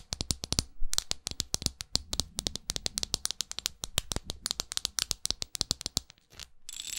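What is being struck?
Small studded glass perfume bottle.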